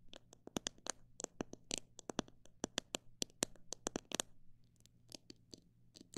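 A fingernail taps on a plastic bottle holding parrot seed, making about 25 sharp, bright clicks that die away almost instantly. The taps come fast and irregular, then thin out after a brief pause, over a faint steady low hum.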